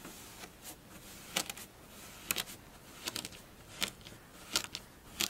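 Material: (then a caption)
Sand. A flat layer of pink kinetic sand on a dark surface is poked and scratched with the tips of long blue fingernails. It gives a series of short, bright, crunchy scratches and clicks over a faint, soft hiss, with almost no low end.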